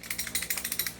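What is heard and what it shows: A non-upgraded T-Rex airsoft pistol is shaken, and its loose barrel rattles in a quick run of about eleven bright, metallic clicks. Each click is short and jingling, with almost no low end.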